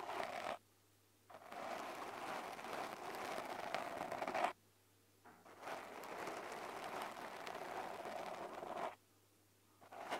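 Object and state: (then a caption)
Foam microphone windscreen. Fingertips with short lilac nails scratch and squeeze a small, soft, porous black polyurethane foam windscreen on a handheld recorder. The result is a dense, crackly scraping rustle centered in the midrange, with a faint low hum underneath. It comes in long sustained bursts separated by brief near-silent pauses.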